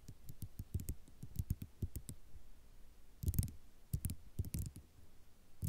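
Long nails tap and scratch across a flat sheet of small white ceramic mosaic tiles. Quick, dry clicks come in uneven bursts, each with a low thud and a bright tick that dies away almost instantly. Denser clusters of clatter arrive in the second half before the clip ends on a final tap.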